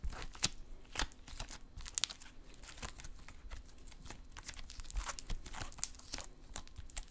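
A folded lump of silver metallic stress putty is squeezed, poked and stretched in both hands. Dense, sharp clicks and crackling pops run throughout, with a soft, sticky, crinkly texture and bright highs over a low rumble.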